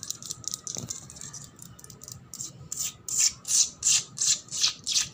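Nails and fingertips scratch a solid, wet, painted concrete floor covered in bubbles, making bright, hissy scrapes with almost no low end. Quieter, quick, irregular scratches come first, then louder, steady back-and-forth strokes in a regular rhythm.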